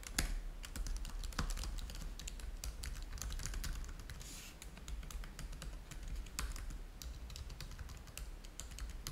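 Both hands type fast with their fingertips on the keys of a black plastic laptop keyboard, making a dense, steady stream of short, sharp clicks. Occasional louder keystrokes stand out over a constant low hum.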